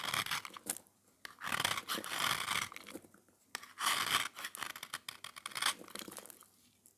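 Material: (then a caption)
Soap. A metal blade scrapes and shaves the face of a small, round, solid beige dry soap disc painted silver-red, held in the fingers. Bursts of dry, bright crunching and crumbly scraping come in uneven strokes, with brief quiet gaps between them and almost no low end.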